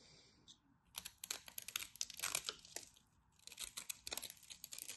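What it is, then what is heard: Dry bar soap being carved. A craft knife carves and scrapes crumbly flakes from a solid, dry white bar of soap. Quick, bright, crackling scrapes come in rapid clusters, with a brief quieter pause in the middle. The sound has almost no low end and stops dead after each stroke.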